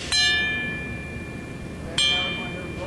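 A metal leaf spring from an Eriez B vibratory feeder, held by one finger through an end hole, is tapped twice with a hammer. Each tap gives a distinct, high-pitched metallic chime that rings for about three-quarters of a second, showing the spring is not cracked.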